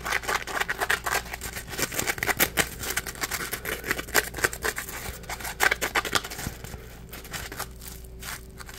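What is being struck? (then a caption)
Polymer foam scrub sponge. A dry, porous, palm-sized yellow Scrub Daddy polymer foam sponge is squeezed and crushed in the hand and scratched with fingertips. It makes dense, rapid crackling and scratchy crunches with a bright, high-frequency edge. The activity grows quieter and sparser toward the end.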